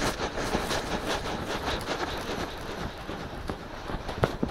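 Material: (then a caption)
Silicone. Fingertips and short nails of both hands scratch and rub the palm-sized soft silicone ear shapes on both sides of a black 3Dio-style binaural microphone on a stand. A steady, dense, broadband scratching and rustling texture runs throughout, with a few sharper, louder scrapes near the end.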